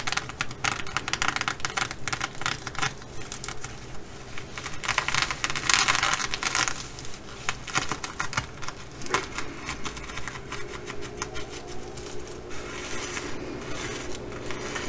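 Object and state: Sequin fabric bag being scratched.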